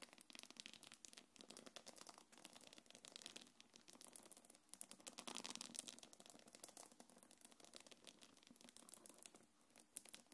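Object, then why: Quilted faux-leather belt bag with metal chain. Long nails scratch over a small black quilted faux-leather belt bag and its gold metal chains. It makes a dense, bright stream of crisp scratching and crinkling with light metallic rattles. The sound swells louder in the middle before settling back.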